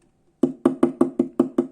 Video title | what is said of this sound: EDITION COLLECTOR - Saint Seiya (Les chevaliers du zodiaque) | ça sonne creux, c'est du fin panneau là sur le côté